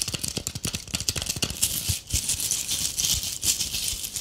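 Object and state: Tinsel-covered ornament ball.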